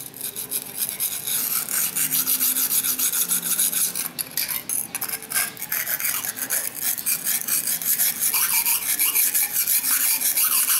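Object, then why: Steel knife on whetstone. A steel kitchen knife with a black handle is rubbed back and forth across a solid dark rectangular whetstone resting on a tiled floor, with fingertips pressing on the blade. The result is a steady, bright, hissing scrape of rhythmic sharpening strokes, easing briefly around the middle before resuming at full strength.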